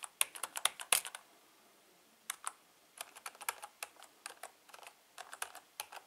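Fingertips type on the letter and number keys of a full-size black plastic Logitech K120 membrane keyboard with a hollow housing. About 23 short, bright, clicky key taps come in quick bursts separated by a brief pause, each dying away almost instantly with no low thump.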